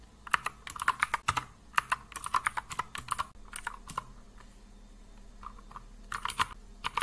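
Fingertips of both hands type continuously on a compact mechanical keyboard with blue and grey plastic keycaps resting on a wooden desk. About thirty sharp, short plastic clicks come in quick bursts centered around 1.2 kHz with a bright top, and the typing thins to a quieter lull in the middle before the rapid taps resume.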